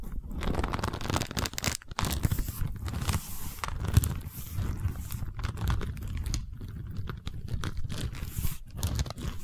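A long woven wicker cylinder, held horizontally, is scratched with the long nails of both hands. The result is a steady, dense, crunchy scraping with rapid crackling bursts, heavy in the low end with a thin bright hiss above.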